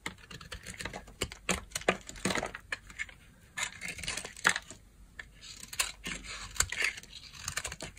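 A utility knife blade carves a solid oval yellow bar of dry soap held in the hand into curls and chunks. Quick, crisp scraping cuts and sharp clicks come in an uneven stream, bright and dry with almost no ring.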